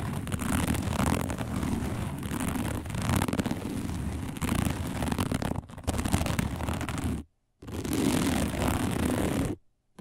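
Long nails scratch fast and aggressively across a round, flat, dark woven plastic placemat. The result is a dense, continuous rasping texture with a heavy low rumble beneath it. It breaks off into two brief silences near the end.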